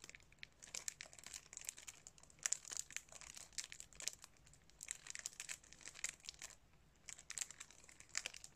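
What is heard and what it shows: Fingertips crinkle and scrunch the thin cellophane wrap on a plastic DVD case held close up. Dense, quiet, bright crackling comes in uneven bursts with brief pauses, almost no low end, and no ring after each crinkle.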